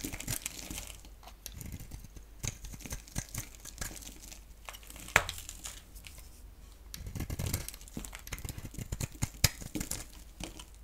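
A palm-sized, solid oval bar of dry soap, black on the outside and yellow inside, is held in one hand and shaved and scraped with a box-cutter blade, sending off curls and crumbles. The clip is full of dry, crinkly scraping and tearing sounds that come in uneven bursts, with one sharp, bright crack near the middle. Denser rasping strokes come toward the end.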